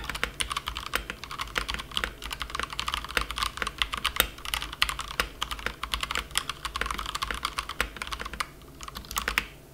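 A plastic compact mechanical keyboard resting on a felt mat is typed on continuously with the fingertips of both hands. The result is a rapid, steady stream of short, bright, clicky keystrokes over a faint low hum, easing briefly near the end before a final flurry.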